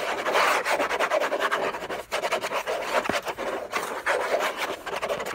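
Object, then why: Cardboard gift box lid. Short nails and fingertips scratch hard across a large, flat, hollow orange Hermès cardboard box lid, with a thin bracelet on the wrist. A dense, raspy, bright scraping rises and falls in rapid strokes, ringing slightly hollow in the lower mids.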